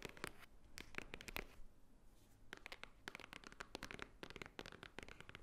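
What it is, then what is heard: Cardboard box tapped and scratched. A flat rectangular white cardboard Swarovski jewelry box, held upright and likely hollow, is tapped and scratched with long nails. Quick, dry, bright clicks come in uneven bursts, separated by a short quieter stretch of soft scratching. The taps stop almost instantly, with no ring.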